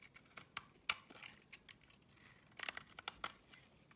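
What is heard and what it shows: A blade scrapes and cuts shavings off the surface of an oval, solid purple bar of soap. Quiet, bright, crisp scraping and crackly snaps come as short, sharp bursts with almost no low end. Each cut stops dead with no ring.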